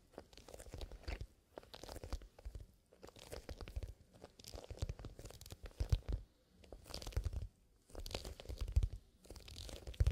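Fingertips with short nails scratch and tap along the side of a soft, hollow black pebbled leather pencil case with a zipper top. The result is dense, crunchy scratching in uneven bursts with brief pauses between them, carrying a deep, muffled thump under faint bright rasping.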